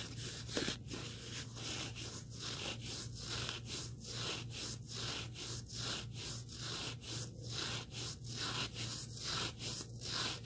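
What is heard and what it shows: Fingertips rub and scratch the abrasive surface of a small, solid black sanding sponge block held close to the microphone. A steady, bright, gritty scraping continues throughout, rising and falling in a loose rhythm of roughly one stroke per second over a constant low hum.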